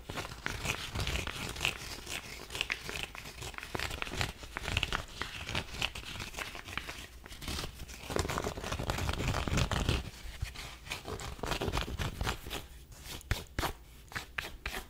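Long nails scratch the crown and brim of a black cotton twill baseball cap as it is turned over in the hands. Dense, irregular scratchy strokes and crinkly rasps sit over a low handling rumble, with bright, dry texture. The sound eases briefly near the ten-second mark before the quicker scratching resumes.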